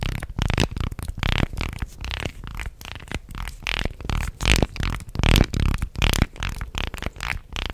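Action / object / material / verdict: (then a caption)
scrape / segmented wooden fish toy / wood / none. A small, light-wood segmented fish toy is held close to the mic and flexed and rubbed along its slats with the fingertips, making its segments click. Irregular bursts of dry clicking and wooden rattling overlap with soft scraping, sounding bassy and close-miked throughout.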